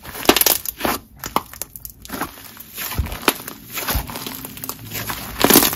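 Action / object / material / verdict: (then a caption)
scrape / crunchy honeycomb slime / slime / none. Yellow crunchy honeycomb slime, spread flat on a marble surface, is pressed and smeared under a palm, then kneaded back into a ball by the fingers. It gives a run of sharp, bright crackling crunches over quieter squishing, with a loud final burst of crunching near the end.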